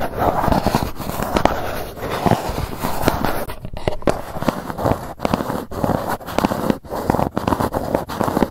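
Long nails scratch and tap across the top and edges of a grey GUCCI cardboard gift box. A dense, papery crackling scrape runs throughout, centered in the mids with little bright content. Sharp, short taps and brief pauses are scattered through it.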